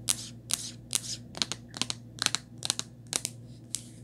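Long nails tap and scratch the back and bumper of a rose-gold hard plastic and black rubber phone case with a ring holder. About fourteen sharp, bright clicks come in an uneven rhythm, each trailed by a short, high scratchy rasp. A faint, steady low hum sits underneath throughout.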